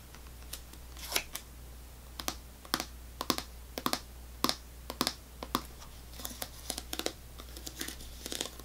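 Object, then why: Small plastic snack cup. Long nails tap and scratch a small, clear plastic cup of apple sauce, full and sealed, held in the hand. Sharp, bright clicks and brief scratchy bursts come at an irregular pace, each dying away almost instantly, over a faint steady low hum.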